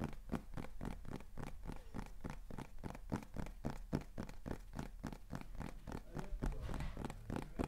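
A small, hollow beige kraft cardboard box is held in both hands and tapped rapidly with fingertips and nails. The result is a quick, uneven stream of short, dull taps, roughly three to four per second, with soft low thuds and faint crisp clicks that die away almost at once.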